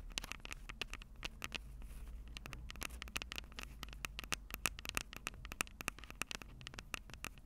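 Long purple acrylic nails tap the two metal-grilled microphone capsules of a plastic-bodied Tascam DR-05 handheld recorder. The result is a quiet, rapid, irregular patter of sharp, dry clicks that are bright and ring near 2.8 kHz, each dying away almost instantly over a faint low rumble.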